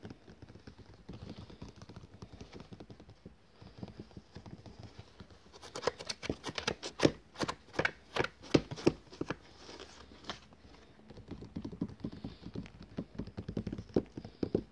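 Fingertips tap quickly on the glossy paper cover of a large, flat book or catalogue lying on a table, making dense, soft patter. In the middle stretch the taps turn louder and sharper, with crisp, well-separated clicks. The taps then return to a softer, rapid flurry.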